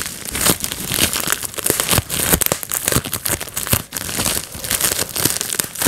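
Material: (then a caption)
Plastic. A small sheet of clear, air-filled plastic bubble wrap is held in both hands while fingertips pinch and pop individual bubbles. Sharp, bright pops burst out in quick, irregular succession over a steady crinkling rustle of the plastic, with many distinct snaps across the clip.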